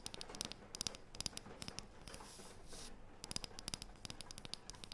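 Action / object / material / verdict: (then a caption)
scrape / thin wooden disc / wood / none. Long painted fingernails rub and scratch a thin, round, light, solid wooden disc held in the hands. Quick, dry, bright clicks and scratches come in bursts, with a softer, hissy rubbing stretch in the middle. Each tick dies away almost instantly, leaving a quiet, crisp texture.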